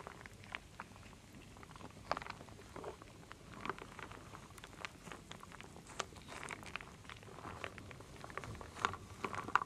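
A wooden spoon stirs small solid wooden beads, acorns, acorn pieces and leaves in a full wooden bowl, with long nails nearby. The result is a quiet, steady stream of dry clattering and rustling, broken by irregular sharper clicks that stop instantly without ringing.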